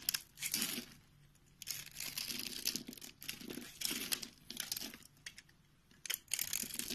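A utility knife scores a grid into a rectangular, solid white soap bar held in the palm, then scrapes the surface into crumbly white cubes. Bright, dry crinkling and crunching scrapes come in several bursts separated by short quiet pauses, with no ring after each stroke.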